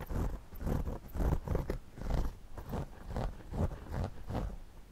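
A pencil tip scratches along the brim of a white, wide-brim woven straw floppy hat worn on the head, while the other hand holds the hat steady. A steady series of dry, rustling scratch strokes rises and falls in rhythm. The strokes sound muffled and low-heavy, with no bright edge.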